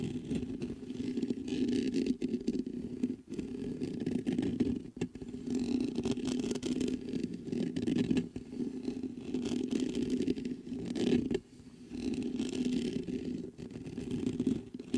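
Fingers scrape and scratch the mesh grille of a black metal USB microphone. The result is a dense, continuous rough scratching with a strong low-mid hum-like body, broken by a few brief pauses.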